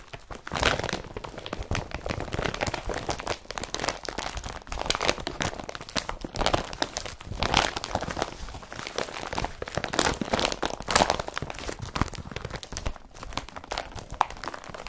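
Palms and fingers rub across an empty blue IKEA BRATTBY carrier bag of woven polypropylene. The result is a steady, dense crinkling rustle with scratchy, crunchy bursts that rise and fall in waves, bright and papery with little low end.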